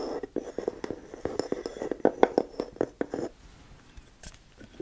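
A medium black glass candle jar filled with wax, with a flat light wooden lid, is held in one hand while long nails tap and scratch the top of the wooden lid, fingers resting on the glass side. A fast run of short, dry, woody taps with a hollow mid-range tone fills the first three seconds. It is followed by quieter, sparse ticks and a faint scratch.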